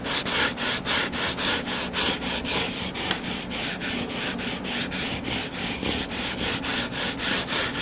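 Fingertips and nails scratch the cover of a solid, closed hardcover book lying flat on a table. Bright, dry rubbing strokes repeat at a steady rhythm of nearly two per second, with one sharp click partway through. The low hum stays faint beneath the raspy scratching.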